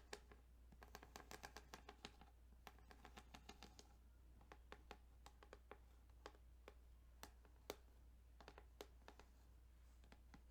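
Fingertips tap and scratch across the ridged plastic of a Tetris Game Boy cartridge, producing a quick series of dry, bright clicks with very short ring. The clicks come in dense bursts at first, then more spaced out, over a steady low hum.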